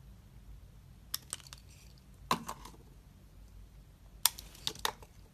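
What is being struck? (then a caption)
Bar of black soap cut with a metal blade. A metal utility knife blade shaves thin slices from the surface of a solid, hand-sized black soap bar held in the palm. Nine short, crisp, bright scraping cuts come in irregular clusters, each dying away almost instantly, over a faint low hum.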